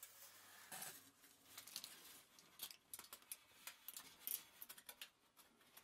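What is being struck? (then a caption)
Crumpled aluminium foil sheet. Fingertips and long nails press and scratch across a large crumpled sheet of thin aluminium foil lying flat on a table. The result is a quiet, bright stream of crinkling and crackling with sharp, short scratchy snaps that die away almost instantly. There is almost no low end.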